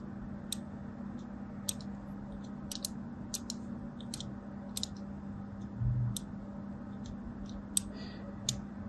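A fine craft blade cuts a crosshatch pattern into the surface of a solid white and teal striped bar of soap held in the hand, shedding small flakes. Short, crisp, bright clicks and scratches come at irregular intervals over a steady low hum, with a brief dull thump near the middle.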